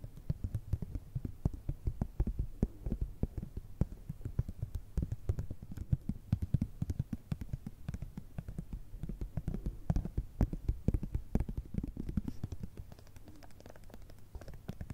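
A small, flat, filled plastic and foil cosmetic cream sample sachet is tapped and scratched with long red nails. The result is a rapid, dense stream of soft, muffled low taps with very short decay, dominated by low frequencies and carrying almost no high-end content.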